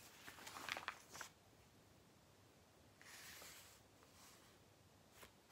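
Fingertips lift, rub and flip the thin pages of a thick glossy-paper Argos catalogue lying open on a lap on a blanket. A bright, crisp burst of crackling paper rustle comes first, followed by a softer sweeping swish as another page turns and a faint papery tick at the end, all quiet and close.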